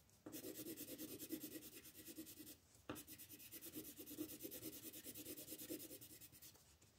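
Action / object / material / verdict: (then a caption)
scrape / wooden colored pencil on a paper page / paper / none. A green wooden colored pencil shades grass on a paper coloring book page resting on a table, while the other hand holds the page. It makes steady, raspy back-and-forth rubbing strokes with a bright, papery hiss. The strokes come in two long bursts separated by a brief pause.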